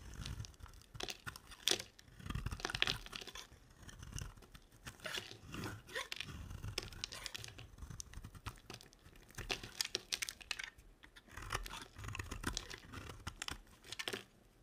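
A curved, dry, solid green soap bar held in the hand is shaved in strips with a box-cutter blade, leaving green curls piling up beside it. Each cut makes a bright, crunchy, tearing scrape that stops quickly and comes in repeated bursts with short pauses between them.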